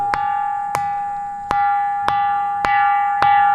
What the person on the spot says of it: ఈ రాయిని మరో చిన్నపాటి రాయితో తడిమితే సరిగమల స్వరాలు వినిపిస్తున్నాయి. నాలుగు దిక్కులు ఒక్కో తరంగం వినిపిస్తుంటుంది. చివరి భాగంలో మాత్రం గుడిలో గంట మోగే కంచు లాంటి శబ్దం వినిపిస్తుంది.